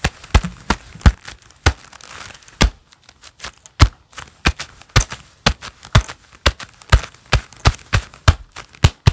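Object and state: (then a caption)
Leather gloves clapping. Hands wearing a pair of black leather gloves clap and rub together. The result is a steady series of sharp, crisp claps with a low thump and bright, crinkly leather rustle between them, with a brief stretch of softer rubbing early on.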